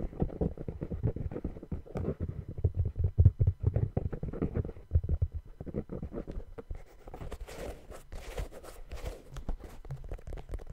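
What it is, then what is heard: Rubber sneaker sole. Fingers tap and scratch the patterned rubber outsole of a brown sneaker held upside down. Quick, irregular, dull low thumps fill the first six seconds. The taps then give way to softer, brighter scratching across the tread.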